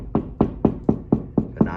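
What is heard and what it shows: Knocking on drywall between the studs, away from any stud, gives seven quick, hollow, low-pitched thuds that die out almost at once. The hollow sound shows there is no stud behind that spot.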